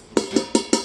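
Four quick taps on a cheap, very thin-bottomed metal frying pan that cost about 10 dollars, each a short hollow clank around 380 Hz that dies away fast. The pan sounds hollow and does not hold heat as well as a heavier pan.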